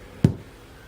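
A single light tap on a thin pressed-aluminum wheel center cap, about double the thickness of tin foil, gives a short, dull, low knock that dies away almost at once. Such a light tap is enough to dent these caps, which is why they are hard to find in good condition.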